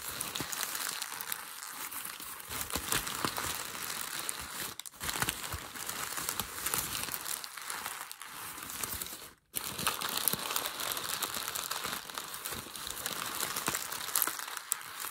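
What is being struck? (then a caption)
Paper ball. A crumpled ball of grey packing paper is gripped and squeezed in one hand, producing a steady, dense crinkling and crackling that is bright and papery with almost no low end. The rustling continues for about fifteen seconds, broken only by a brief silent pause near the middle before it resumes.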